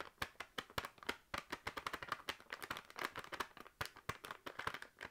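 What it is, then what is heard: Plastic noodle packet. A full, sealed plastic packet of dried noodles is held in the hand and tapped rapidly with long nails. Each tap gives a short, dry click with a light plastic crinkle, bright in the upper-mid range with almost no low end. The taps come in quick, uneven bursts and die away almost instantly.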